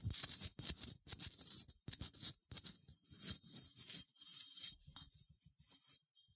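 Long nails scratch across the bumpy, textured surface of a small cream, matte, unglazed ceramic sheep figurine held in one hand. The result is a series of dry, bright, rasping scratches in short bursts separated by brief pauses, with most of the energy high and only a faint low thump underneath.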